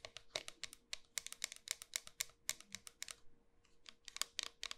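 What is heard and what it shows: A small, solid round bar of pink soap with a pearl-bead rim is held in the hand and tapped rapidly on its flat surface with long white nails. About 26 crisp, dry, bright clicks come in quick, uneven bursts, each dying away almost instantly. A faint steady hum sits underneath.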